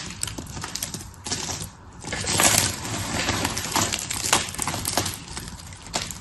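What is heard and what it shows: Both hands grab, squeeze and crush a pile of dry blue and pink soap shavings with fingertips and nails. Dense, bright crunches and rubbing crackles run throughout, with a louder stretch in the middle.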